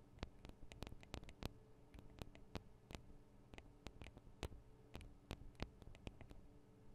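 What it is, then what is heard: Recorder microphone capsules tapped with nails. Long acrylic nail tips tap on the small, hollow metal and plastic microphone capsules of a Tascam DR-40 recorder. About 25 quick, sharp clicking taps come in an irregular rhythm, each dying away almost instantly. A steady low hum and faint hiss sit underneath.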